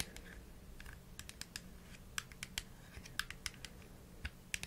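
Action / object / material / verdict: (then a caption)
tap / plastic supplement bottle with screw cap / plastic / none. Long nails rapidly tap a small, hollow plastic supplement bottle with an orange label, held in the hands, striking mostly the flat white plastic screw cap. The result is an irregular series of short, sharp, bright clicks around 1.6 kHz that die away almost instantly, with a few louder taps standing out over a quiet low hum.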